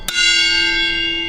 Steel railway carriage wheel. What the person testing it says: tapping the wheels and listening for a change of note that would tell you whether it was fractured or not